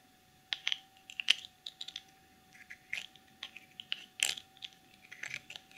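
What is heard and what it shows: Long nails tap and scratch the sides and black plastic lid of a small clear cosmetic jar filled with dark glitter. About twenty short, bright, clicky taps and brief scrapes come in an irregular rhythm, each dying away instantly over a faint steady hum.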